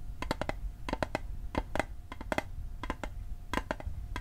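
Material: Metal.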